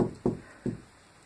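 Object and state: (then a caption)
Drywall over a stud sounds solid. Three quick knocks on drywall over a wooden stud give short, dull thuds with energy mostly below 1 kHz and almost no ring. The wall sounds solid at this spot because a stud is behind it.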